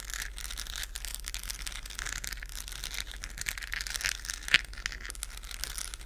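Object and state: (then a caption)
Plastic moon lamp scratched. Long nails scratch across a hollow, lit, textured plastic galaxy moon lamp held in the hands close to the mic. The result is a dense, continuous, bright scratching and crinkling rasp, with one sharper click near the end and a faint steady low hum underneath.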